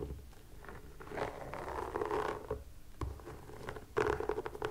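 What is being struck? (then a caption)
Rubber sneaker sole. Long nails scratch and tap across the textured rubber sole and sidewall of a white sneaker as it is turned. Soft, dry scratching rises and falls in bursts, with short clicky taps landing on top, the loudest cluster near the end.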